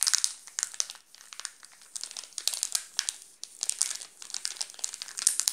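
A wrapped chocolate bar in a plastic film wrapper is scratched and crinkled by fingertips. The result is a dense, bright crackle of many sharp crinkles that come in bursts with brief quieter gaps. There is almost no low end.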